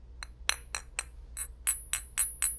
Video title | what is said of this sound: v2詭異debug磁場／豐盛琉璃貔貅 & Verizon 砍價／分享 & 照顧好自己的感受｜v2 Debug Vibes/Verizon Deal/Sharing&Self-Care. Vlog004 | 第一次接触琉璃的东西我发现琉璃的声音跟玻璃还真是不一样